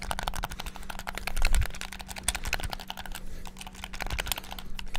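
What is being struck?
Plastic game controller.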